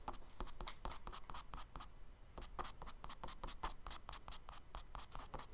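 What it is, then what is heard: Kraft paper sketchbook page scratched with charcoal. A charcoal stick scratches quick tree-branch strokes onto the solid surface of a tan kraft paper page in a spiral sketchbook. Rapid, bright, dry scratching strokes follow one another closely, with a short quiet pause partway through before the strokes resume.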